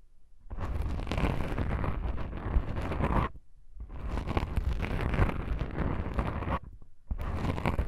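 Long pink nails scratch black foam microphone windscreens, producing a dense, rumbling, crackly scraping that is heavy in the low end. The scratching comes in three sustained bursts separated by short silences, with the last one cut off at the end.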